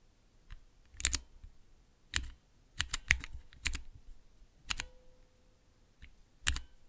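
Fingertips with long nails press and tap clear plastic keycaps on Cherry MX switches with red, clear and green stems, set in a clear plastic base of a mechanical keyboard switch tester. The result is a sparse run of sharp, dry, bright clicks with a low thump under each, some landing as quick double taps, separated by near-silence. A faint steady low hum appears near the end.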